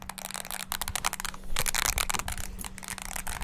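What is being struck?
Plastic mini wireless keyboard.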